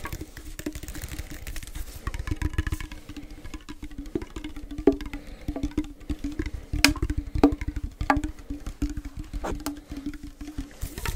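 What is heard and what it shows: A small, hollow, cylindrical metal tin can with a blue label, held close in both hands, is tapped rapidly with fingertips and nails. The result is a steady patter of soft, dull taps over a low hollow ring, with occasional sharper, brighter clicks from the nails.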